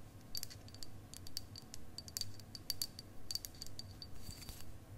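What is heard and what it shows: A long, solid clear quartz crystal point, held upright and then horizontally, is tapped with long acrylic nails. It gives quick, light clicks in an uneven rhythm, each with a bright, high, glassy ping that fades fast. A low, soft rumble sits steadily underneath.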